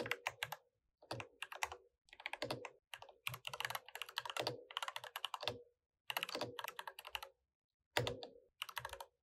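Both hands type with their fingertips on an RGB-lit, full-size mechanical keyboard with plastic keycaps. Quick bursts of bright, clacky key taps come with short pauses between them, each tap carrying a soft low thock underneath and dying away almost at once.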